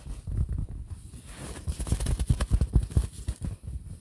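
Fingertips of both hands scratch and tap a printed fabric pillow held in front of the mic. The first half is a low, muffled rustle of scratching. Then comes a run of soft, dull thumps that build in the middle and ease off, each dying away almost at once, with almost all the energy deep in the low range.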